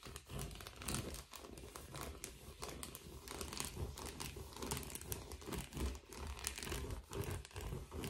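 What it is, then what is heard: Foil bubble padded envelope. Gloved fingers scratch and crinkle a blue metallic foil bubble padded envelope as it is tilted and handled. Dense, continuous crinkling and rustling comes in quick, uneven bursts with bright edges over a soft low rumble, and each sound dies away almost instantly.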